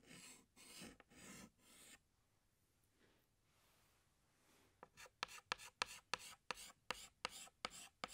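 A hand scratches a green chalk stick across a large flat black chalkboard in long drawing strokes, producing four broad, raspy scrapes with bright, hissy highs. After a quiet pause, a rapid series of short, sharp chalk strokes and taps clicks crisply against the board.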